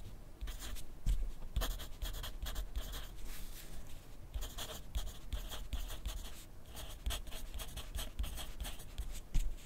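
A wooden graphite pencil writes continuously on a sheet of lined paper clipped to a flat clipboard resting on a wooden desk. The pencil tip gives a steady dry scratching, broken into many short bright strokes, with soft low thumps from the clipboard underneath.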